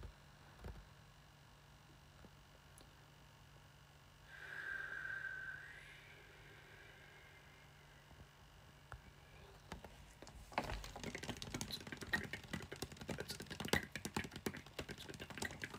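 A small, clear plastic water bottle with a white screw cap, hollow and partly filled with water, is held in one hand and tapped rapidly with the fingertips and nails of the other. After a mostly quiet stretch with a few isolated clicks and a brief faint tone, a dense burst of fast, bright tapping starts around the tenth second and continues to the end.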